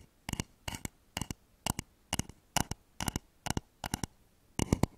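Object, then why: Wooden bowl. Fingernails tap rapidly on the outer wall of a hollow, polished wooden bowl turned upside down over microphones. The taps come in ten quick clusters of short, dry, hollow knocks with a low body and bright clicky tops that die away almost instantly, separated by quiet gaps.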